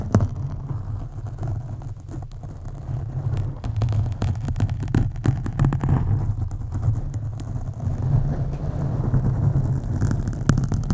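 Long acrylic nails on both hands scratch slowly over a black foam windscreen on a USB microphone. The result is a deep, muffled rumble with a steady low hum, broken by irregular soft crackles and brief sharp scrapes. The sound stays dense and continuous throughout, with little high-end brightness.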